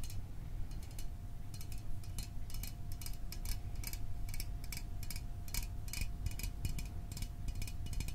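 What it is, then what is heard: Small aluminium drink can tapped with fingernails. A small, hollow Fanta orange aluminium drink can is held in the hands and moved near the microphone while fingernails tap its sides. The result is a rapid, irregular run of short, bright metallic ticks over a steady low rumble and a faint constant hum.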